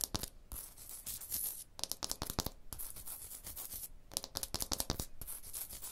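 Long blue nails tap and scratch a rough, porous textured stone block wall. Quick bursts of sharp, dry taps alternate with stretches of bright, gritty scratching hiss, and each tap dies away almost instantly.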